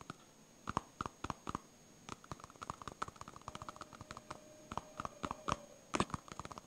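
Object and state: Foam stress ball tapped and scratched.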